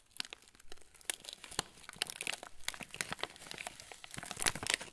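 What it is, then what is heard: Plastic cracker wrapper crinkling. A hand-sized yellow plastic-film packet of TUC crackers, full of crackers, is held in both hands while fingertips squeeze and rub the wrapper. It produces a steady stream of bright, sharp crinkles and crackles with little low end, growing denser and louder toward the end.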